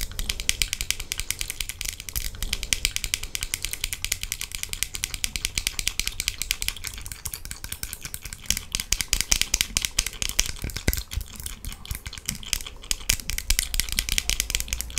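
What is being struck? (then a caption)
Plastic sunglasses frame. Long acrylic nails rapidly tap and scratch along the frame of worn, transparent plastic sunglasses with pink lenses, near the temple. The result is a dense, continuous stream of sharp, bright clicks and scratchy rasps over a steady low hum.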